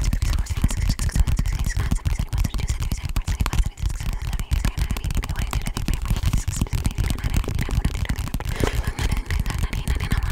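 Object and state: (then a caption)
Paperback book. Long painted nails rapidly tap and scratch the cover and spine of an orange softcover paperback book held upright close to the microphone. The result is a fast, continuous stream of dense, low, thuddy taps mixed with papery scratching that goes on without pause.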